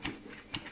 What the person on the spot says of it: Quand on fait 7 fois à gauche, 7 fois à droite, il faut entendre la pâte qui fait ploc-ploc dedans.